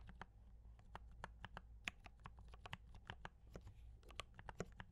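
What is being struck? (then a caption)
Mechanical keyboard with plastic keycaps. Both hands type continuously with fingertip taps on a compact D84 mechanical keyboard with brown switches and cream and red plastic keycaps. About twenty quick, bright clicks and clacks rise over a steady low hum, each dying away almost instantly.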